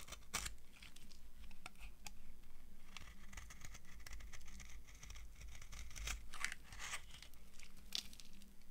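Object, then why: Soap bar shaved with a metal knife. An old, solid, brown, translucent dry soap bar is shaved with a metal knife into flaky curls. Close-up, it makes dry crunchy, crackling scrapes and short bright flaking crackles over a steady low hum.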